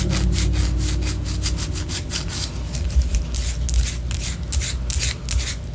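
Long orange nails scratch the surface of a white, solid wax pillar candle in quick repeated strokes. Each stroke gives a dry, bright, rasping scrape, heard over a steady low hum.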